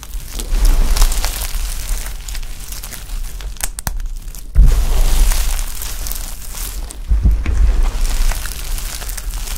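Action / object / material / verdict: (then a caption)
drop / pile of soap shavings / soap / none. Bare hands scoop, squeeze and drop a large heap of brittle, colourful dry soap chips and flakes on a tray. The result is continuous crunching and rustling with bright crackles over a deep, rumbling low end. Louder surges come when handfuls are squeezed and let fall.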